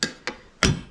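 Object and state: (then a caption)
Hard plastic machine part. A hard plastic part pulled from an LG washing machine is knocked three times, each hit a short, sharp knock with a quick decay, the third heaviest and fullest in the low end. Cutting it with scissors later confirms it is a hard plastic, almost like bakelite.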